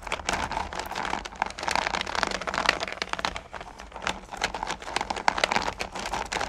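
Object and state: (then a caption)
Candy pumpkins stirred in a plastic bucket. Fingers with long nails push into and stir small solid candy corn pumpkins in a purple plastic bucket. The result is a dense, continuous rattle of bright clicks and crinkly clatter, rising and falling in short bursts as the candies shift against each other and the plastic.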